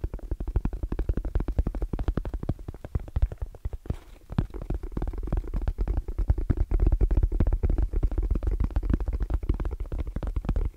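Fast fingertip tapping and nail scratching on the edge and face of a small, closed, hollow black zippered hard case with orange trim and a fabric-covered EVA shell. The result is a dense, rapid stream of dull, low, muffled thumps with a faint scratchy texture and almost no ring. There is a brief pause near the four-second mark, after which the tapping runs steadier and slightly louder.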